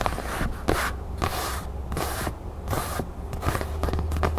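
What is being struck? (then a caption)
Thin craft foam crown cutout. A thin red craft foam crown cutout is held close while long nails tap and scratch across it and hands bend it. Bursts of bright, hissy scratching come in quick waves over a steady low rumble, with short soft taps between them.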